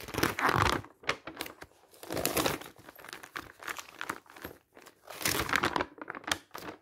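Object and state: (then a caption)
Glossy paper brochure pages. Fingertips turn the pages of a bound glossy paper travel brochure with map and photo pages, open on a table, one by one. Each turn makes a burst of bright, dry crinkling followed by quick fluttering flicks, with short quiet gaps between them. The sounds die away almost instantly.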